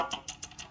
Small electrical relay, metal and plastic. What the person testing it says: may tunog siya sa loob yan. Meron siyang parang spring.